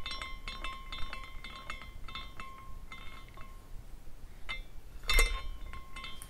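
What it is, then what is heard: Glass carousel figurine clinking. A small glass carousel figurine is spun by the fingers at the top, its glass horses swinging and clinking together. Bright, ringing glass tinkles with a clear high pitch sound in quick, irregular clusters over a low rumble. Near the end comes one louder burst of clinking before the ringing fades.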